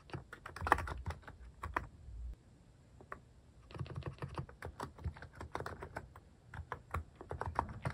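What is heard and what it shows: Fingertips type on a plastic mechanical keyboard fitted with cat-shaped plastic keycaps, producing a steady run of short, crisp clicks and clacks with a low thock. Bursts of rapid keystrokes are separated by a brief quiet pause before the typing resumes.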